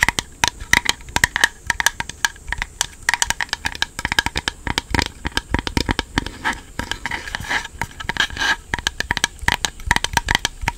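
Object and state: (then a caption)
Hollow plastic controller grip. A small, black, hollow and empty hard-plastic Joy-Con charging grip is held close to the mic while fingernails scratch and tap its flat plastic face. Rapid, sharp, bright clicks and taps overlap with dry scratching crackle, each tap cutting off almost instantly with no ring.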